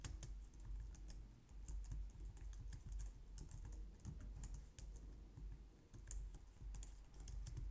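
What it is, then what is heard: Plastic computer keyboard. Long painted nails and fingertips type on a low-profile white/light-grey plastic wireless keyboard resting on a glitter mat on a wooden desk. A steady, dense stream of soft plastic taps comes through, with a low thudding body under short, bright clicks that die away quickly.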